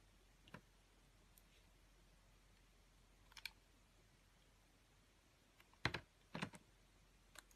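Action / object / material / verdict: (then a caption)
scrape / bar soap cut with a metal blade / soap / none. A metal utility blade cuts the scored pieces off a solid ring-shaped bar of soap with a pink scored rim and a pale yellow face. Eight sharp, crisp clicks and snaps come at irregular intervals over a quiet, steady background. The loudest ones cluster near the end.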